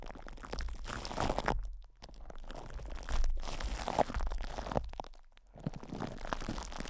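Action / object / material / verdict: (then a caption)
scrape / metal microphone grille wrapped in plastic film / plastic film / none. A metal microphone grille wrapped in cling film is squeezed, cupped and rubbed by the fingertips of both hands. Dense crinkling and crunching rustles sit over a heavy low rumble, with two brief near-silent dips when the hands let up.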